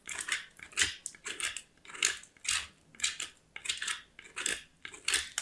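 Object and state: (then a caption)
Soap bar grated on a metal grater. A small solid white soap bar is scraped over a small steel box grater in repeated grating strokes. Each stroke is a bright, dry, rasping scrape with almost no low end, separated by short quiet gaps in an uneven rhythm.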